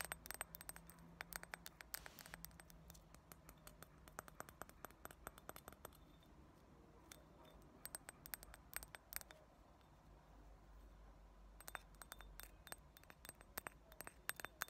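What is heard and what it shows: Long nails tap rapidly on the rim and inner walls of an empty, round, heavy clear glass ashtray, making sharp, bright clicks with almost no ring. The taps come in quick clusters, ease off around the middle and again just after ten seconds, then pick back up, all over a faint low hum.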